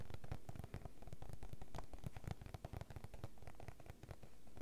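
Painted nails rapidly tap on a small, clear, fruit-print PVC zip pouch filled with face mask sachets as it lies on a table, and then the pouch is picked up and squeezed. The result is a dense, uneven stream of quick, dull, low-heavy taps mixed with soft plastic crinkling.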